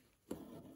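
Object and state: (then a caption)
Taut embroidery fabric on a frame. Crewel work linen embroidery fabric stretched on a wooden embroidery frame is tapped once, giving a single short, hollow, drum-like thump with a low-mid tone and a brief dull ring. The hollow sound shows the work is mounted properly and taut on the frame.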